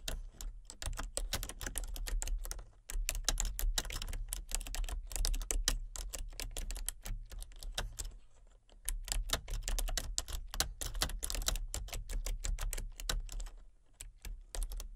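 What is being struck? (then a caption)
Plastic computer keyboard. Fingertips with long nails tap rapidly on a full-size plastic computer keyboard with color-changing backlit keys and a hollow body, producing a dense run of short, bright clacks. The typing pauses briefly twice, near 3 and 8.5 seconds, while a steady low hum runs underneath throughout.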